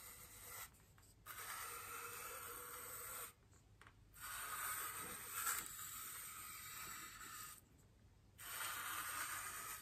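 The bristles of a small paintbrush are brushed across a large white solid styrofoam wreath ring resting on a table. Several long, steady strokes produce a soft, bright, airy hiss, separated by brief quiet pauses.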